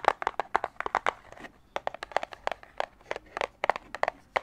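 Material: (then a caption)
Plastic. Fingertips tap and squeeze the clear plastic shell of a small, hollow retail blister pack of putty on a printed cardboard card, held in both hands in front of a microphone. About two dozen quick, crinkly plastic clicks come in irregular bursts, each sharp and dry with almost no ring, centered in the midrange around 800 Hz with bright edges.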